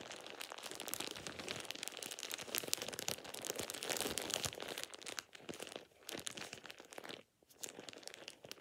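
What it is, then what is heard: Plastic shower cap. A thin light-green plastic shower cap is crumpled and scrunched between fingertips and nails. It makes dense, bright crinkling and crackling that runs nearly nonstop, easing off a few times toward the end with a brief near-silent gap before resuming.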